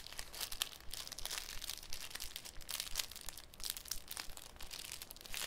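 A thin, clear piece of cellophane is folded, pinched, crinkled and flexed by the bare fingertips of both hands over a wooden table. The result is a steady run of sharp, bright crackles and crinkles with no lingering ring.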